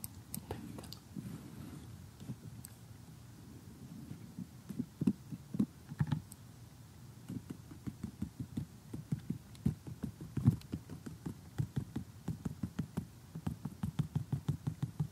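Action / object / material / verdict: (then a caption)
tap / glossy cardboard jigsaw puzzle / cardboard / none. A glossy cardboard jigsaw puzzle lies flat with some pieces raised and is tapped with a short fingernail and metal tweezers. Dozens of quick, dry clicks and soft crunchy taps follow in irregular bursts, mostly low and muffled, with brief bright ticks that die away almost instantly.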